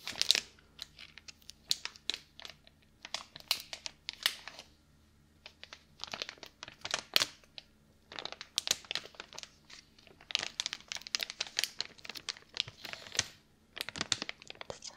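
A flat printed plastic package of medium-size household gloves is held in both bare hands and squeezed and crinkled. Bright, dense crackling comes in clustered bursts with short quiet gaps between them, and there is almost no low end.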